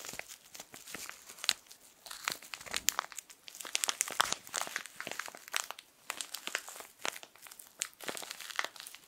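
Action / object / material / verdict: scrape / soft plastic film tissue packet / plastic film / none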